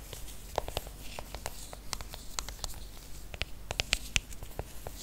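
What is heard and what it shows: Fingernails tap and scratch the aluminium back and edges of a silver iPhone, tilted and held close. A steady run of quick, dry, bright clicks dies away almost instantly, with soft scratchy rustling underneath and a faint low rumble throughout.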